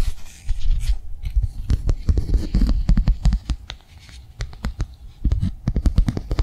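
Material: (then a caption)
Plastic. Long nails tap and scratch rapidly on a flat, blue, rectangular plastic cardholder held in the hands. Quick, dry, clicking taps mix with scratchy rubbing in a dense, irregular patter, with a brief quieter stretch in the middle. The sound is mostly low and thuddy, with short, sharp clicks that die away almost instantly.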